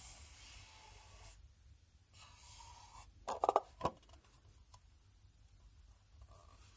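A black enamelled Sennelier metal watercolour paint box, hand-sized and hollow with its lid closed, is tapped with fingertips and nails, both resting on a table and while held. Soft scratchy rubbing comes first, then four quick, bright metallic taps with a short ring around 680 Hz, and the sound ends in quiet handling noise.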